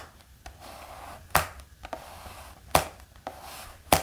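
A black hardcover notebook lying flat is tapped with the fingertips, making seven short, dry taps with an irregular rhythm. Three of the taps are sharp and loud, and the softer ones fall between them. Each tap has a hollow knock around 730 Hz with a quick bright edge, and it dies away almost at once over a faint steady hiss.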